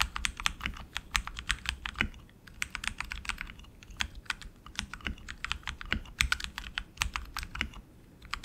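A tenkeyless RGB mechanical keyboard with tactile switches and plastic keycaps on an aluminum frame is typed on continuously with the fingertips of both hands. The result is a steady stream of short, bright, clacky keystrokes over a faint low hum, with a brief lull just after the two-second mark.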